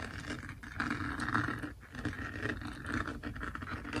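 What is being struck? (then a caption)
Plastic resin drills on an adhesive canvas. Fingertips and nails scratch across a flat, finished Snow White diamond painting, its small plastic resin drills stuck on an adhesive canvas lying on a table. A dense, continuous rough scraping fills the clip, with brief lulls near 0.6 and 1.8 seconds before the scratching picks back up.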